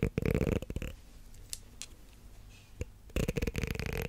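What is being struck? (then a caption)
Plastic comb. A solid light blue plastic comb is scratched along its teeth by long black nails near the mic, giving dense, rasping bursts with a strong low-end rumble. The scratching runs for about the first second and again from about three seconds on, with a quieter gap between holding faint brief scrapes and one sharp tick.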